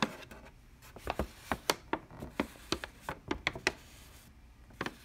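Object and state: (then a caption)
Paper bag. A large, creased brown kraft paper bag standing upright is tapped and scratched along its folds with long dark-painted nails and fingertips. About 14 sharp, dry taps and crinkly scrapes come in irregular bursts, each dying away almost instantly, with a bright papery rustle between them.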